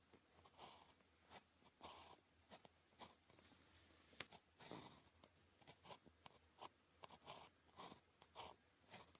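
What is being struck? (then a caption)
Ballpoint pen on a paper sheet. A ballpoint pen tip scratches short strokes across a thin sheet of red-grid paper lying flat while writing characters. The quiet, dry, bright scratching comes in brief separated bursts with soft pauses between strokes and almost no low end.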